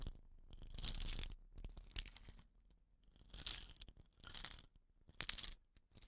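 Fingernails scratch the woven rattan-wrapped end of a hollow wooden rain stick lying on its side. The result is quiet bursts of dry, crinkly scraping with a bright hiss near 3.8 kHz, separated by short pauses and sharp little clicks.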